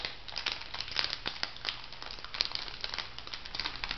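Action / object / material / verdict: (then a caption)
scrape / small filled plastic foil sachet / plastic foil / none. A small, filled, orange printed plastic-foil cosmetic sachet is held upright and crinkled and scratched with long nails. It gives a steady stream of bright, crisp crinkles with many short sharp snaps, mostly high in pitch and dying out almost at once.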